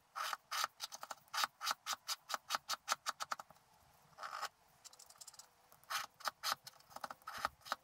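A wooden stylus scratches large areas of the black coating on a scratch art sheet held flat, revealing the colors underneath. Quick, dry scratching strokes sound in rapid bursts, with a longer scrape near the middle and softer, busier scratching after it. The sound is bright and papery, with no low end.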